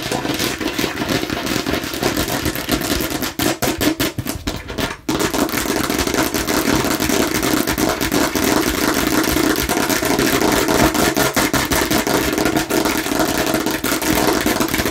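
Long nails tap fast across the red face of a hollow plastic watermelon-slice bottle held in both hands. The result is a dense, steady stream of crisp, bright clicks over a hollow plastic resonance, with a brief, softer, choppier stretch around the fourth second before the rapid tapping resumes at full level.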